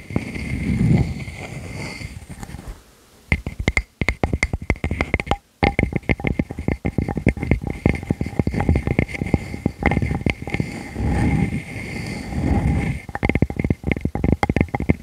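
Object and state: Wood slice.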